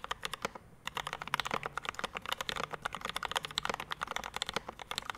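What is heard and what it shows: A Rama M65-B 65% mechanical keyboard with a dark metal case, PVD brass plate, Mint Panda linear switches and ABS keycaps sits on a desk mat while both hands type fast with their fingertips, and at the end one hand presses the left-side keys. It makes a rapid, steady stream of short, crisp clacks with a bright edge and no ring, broken only by a brief gap near the start.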